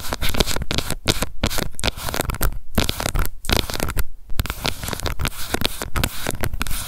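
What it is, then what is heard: Plastic cushion foundation compact. Long nails scratch and tap on a small, round, pink plastic cushion foundation compact with a hollow case, working over its lid and the label on its base. A dense, continuous run of dry scratching and quick taps is broken by a few brief pauses, and the hollow case gives the sound a muffled, low-heavy body.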